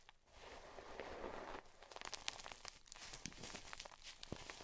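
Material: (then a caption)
Chalk. Chalk-covered hands with long purple nails squeeze and crumble chunks of white gym chalk (magnesium carbonate) between the fingers and scratch into a bed of chalk pieces and powder. A soft, airy scraping hiss gives way to a run of sharp, bright crunches and crackles as the chunks break apart.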